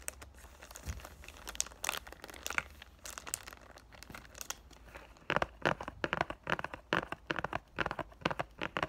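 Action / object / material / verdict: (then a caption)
scrape / cardboard box in loose cellophane wrap / cellophane / none. A cardboard perfume box in loosened clear cellophane wrap is held in both hands while fingers and nails crinkle and rub the plastic against the box. Dense, bright crackling rustles come in irregular bursts, soft at first and then louder and sharper in the second half.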